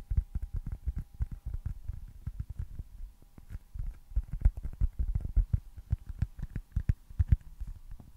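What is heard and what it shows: A small, solid white foam baseball stress ball with red stitching is held close to the mic and tapped and scratched with fingertips and nails. It gives a quick, uneven run of soft, dull, low thumps with no ring, mixed with faint scratchy rustles and a faint steady hum in the background.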